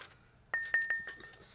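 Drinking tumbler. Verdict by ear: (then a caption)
Solid. A drinking tumbler is tapped four times in quick succession, each tap giving a bright, short clink with a clear ringing tone near 1.8 kHz that fades within a fraction of a second. The tumbler sounds solid.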